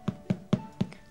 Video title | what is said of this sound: The Royal Origins Of A Full English Breakfast - Royal Recipes - Real Royalty | turn it upside down and tap it and it makes a really nice hollow sound so we know that that's cooked